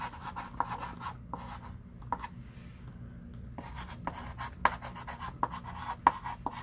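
A hand writes lines of text with a thick pink chalk stick on a small wooden-framed chalkboard lying flat. Irregular scratchy strokes and sharp chalk taps centre around 1 kHz over a faint low background rumble, with a brief quieter stretch in the middle.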